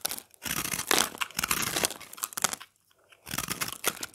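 A knife blade carves and scrapes a solid round chunk of dry, pressed, multicolored recycled soap held in the hand, breaking off crunchy crumbs. Bright, dry crackling and scraping bursts come one after another, pause briefly near the three-second mark, then resume.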